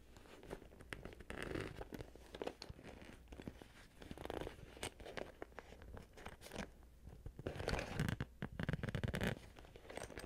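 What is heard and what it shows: A small, hollow, pink glossy vinyl/plastic Hello Kitty cosmetic pouch is held in the hands while fingers with long nails pull its zipper open and closed along the top. The result is a steady run of close, dry crinkling and crunchy zipper rasps with quick clicks and brighter bursts, strongest toward the end.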